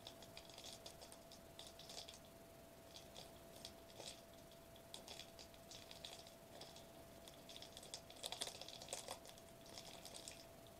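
A foil-laminated plastic bubble wrap sheet held upright is tapped and scratched quickly with the fingertips across its foil bubbles. Soft, rapid, bright clicks and crinkly scratches come in dense bursts, with a faint steady tone running underneath throughout. The sound stays quiet overall, and each tap dies away almost instantly.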